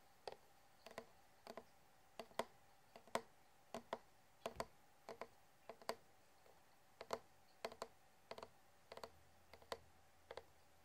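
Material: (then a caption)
Plastic. An empty clear plastic water bottle with a blue plastic flip lid and a metal clip has its body tapped with short fingernails and fingertips. A steady series of short, hollow plastic clicks, often in quick pairs, each with a faint mid-pitched ring that dies away almost at once. The taps are quiet and close.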